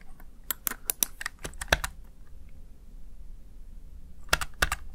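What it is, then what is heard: Plastic gaming keypad. Fingertips and long nails tap the keys of a small, hollow, backlit plastic Razer Tartarus Chroma gaming keypad. A quick run of sharp, bright clicks fills the first two seconds, then a quiet pause follows, and a few more clicks come near the end. Each click is short and dry over a low background hum.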